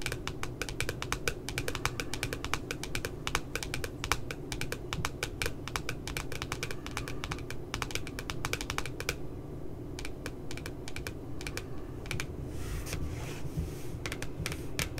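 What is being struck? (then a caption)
Laminated cardboard notebook cover. Long nails tap rapidly on the glossy, laminated cardboard cover of a puppy-themed spiral notebook, making a fast, steady stream of sharp, dry clicks with a bright edge. Each tap dies away almost at once, and a low, steady hum runs underneath. The tapping thins briefly around the middle, then picks up again.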